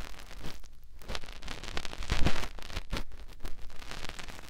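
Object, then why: Silicone ear of a binaural microphone. Fingertips rub the opening of a white silicone ear on a binaural microphone, making close, muffled rustling and scraping with deep thumps. The rubbing comes in many quick, uneven strokes, swelling loudest in the middle before easing off.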